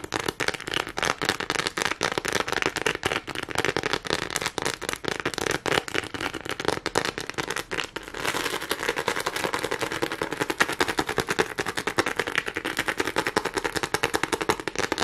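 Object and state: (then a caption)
Plastic studded board. A neon green flat plastic board covered in a grid of small studs, with a hanging tab, is held up and tapped and scratched quickly with long nails. The result is a dense, rapid crackle of sharp, bright clicks and scrapes that gets slightly fuller and more continuous about halfway through.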